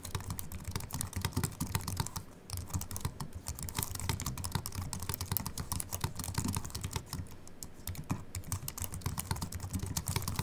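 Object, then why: Slim keyboard with aluminium body and plastic keys. Continuous fingertip typing with both hands on a slim Apple Mac keyboard with an aluminium body and white plastic keys. Quick, light key clicks patter steadily with a soft low thump under each stroke and almost no ring, with brief pauses in the rhythm.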